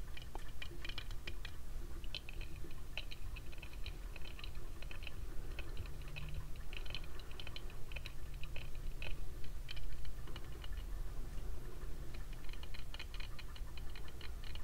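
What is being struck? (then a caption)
Plastic sunglasses frame and lenses. Fingertips and nails tap the frame and dark lenses of a small pair of thick cream plastic oval-frame sunglasses worn on the face. Quick, light, dry clicks come in irregular flurries, bright and brief, over a steady low rumble.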